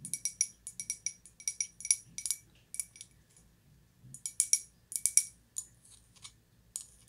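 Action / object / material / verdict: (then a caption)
tap / glazed ceramic cup / glazed ceramic / none. Long white-polished nails tap and scratch a small, empty, hollow white glazed ceramic cup held in both hands. The result is quick runs of bright, crisp clicks with a faint high ring that dies almost at once, spaced by brief pauses over a soft low background hum.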